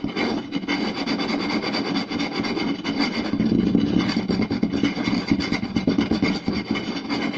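Two hands scratch the lower part of a round, solid wooden plate with a rim groove, using fingertips and short nails. The result is a fast, continuous rasping scratch with a warm midrange body and a bright, gritty edge, holding a steady level throughout.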